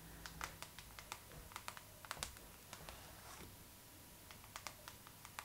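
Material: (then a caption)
Glossy paper. Long pink acrylic nail tips tap and scratch across the glossy paper cover of a Vogue magazine lying flat. About twenty sharp, bright clicks ring out briefly, with softer scratching between them over a faint low hum.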